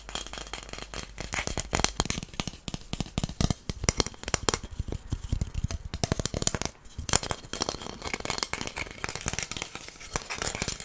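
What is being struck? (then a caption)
Wooden incense stick holder. A long, flat, solid wooden incense stick holder with brass star inlays is held in the hands while fingernails tap and scratch across it. The result is a steady run of dense, sharp, dry clicks and scratchy rasps with almost no ring. There are brief pauses near 6.7 seconds and 10.5 seconds.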